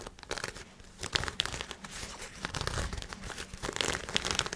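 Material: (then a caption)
Nylon. Fingernails scratch and rub black lightweight nylon shorts with an elastic waistband and drawstring, held up in both hands. The result is a continuous, bright, crinkly fabric rustle with many quick scratchy bursts and little low end.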